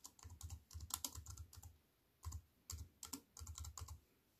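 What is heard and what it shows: Fast typing with fingertips and long white nails on a compact wireless keyboard with black plastic keys in a thin silver aluminium frame, resting on a wooden table. Quick bursts of short, bright clicks with a soft low thud under each keystroke and almost no ring. A brief pause comes midway before the typing resumes.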